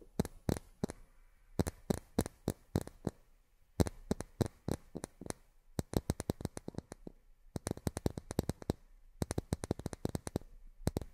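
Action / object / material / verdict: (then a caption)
tap / miniature plastic drinking glasses / plastic / none. Long fingernails tap on miniature plastic drinking glasses, making dozens of quick, dry clicks in uneven bursts with short pauses between them. Each tap is sharp and bright, with almost no ring and a faint low body underneath.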